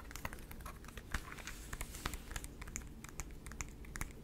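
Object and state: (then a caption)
Plastic handheld game console. A small light-blue plastic Nintendo DS-style handheld console with a hollow shell is held in the hands, folded and then opened, and tapped and scratched with the fingertips. A quick, uneven run of light, dry plastic clicks and taps with bright, short-lived ticks is heard over a low, steady background rumble.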